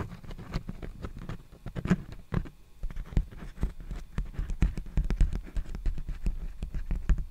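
Fingertips and nails tap and scratch a large, empty black poly bubble mailer envelope held upright. The result is a rapid, uneven run of short, dry, low, muffled taps, with soft scratchy rustle between them.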